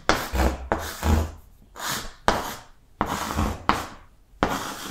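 Yellow chalk writes the alphabet across a large flat green chalkboard, producing a series of scratchy, gritty strokes. Each stroke starts with a sharp tap and rasps bright and dry before fading, with brief pauses between letters.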